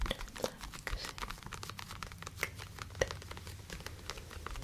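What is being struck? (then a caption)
Padded faux leather boxing glove. Long nails and fingertips scratch and rub the surface of a black TKO-branded, hand-sized padded faux leather piece of boxing gear (a glove or headgear) held in both hands close to the microphones. The result is a quiet, dense stream of crinkly, dry scratches and soft rubbing, with bright, short ticks scattered over a faint low rumble.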